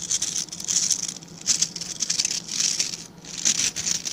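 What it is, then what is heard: Bristle brush being scratched. Fingertips scratch and flick across the dense stiff bristles of a small dark-grey rectangular brush held in both hands. Dry, bright scratching patters and crackles rise and fall in rapid bursts, with a faint low hum underneath.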